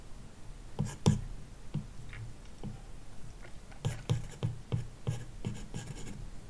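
A plastic stylus tip makes quick, repeated shading strokes across a large iPad glass touchscreen fitted with a matte screen protector, scratching the film. Short, dry scratches sound in uneven bursts, each with a brief bright hiss over a low thud, then fade quickly.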